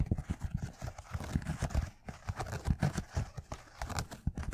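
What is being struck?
Knit fabric sneaker with rubber sole.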